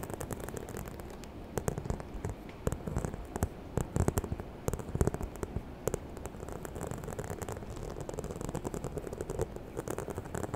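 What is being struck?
Faux leather handbag.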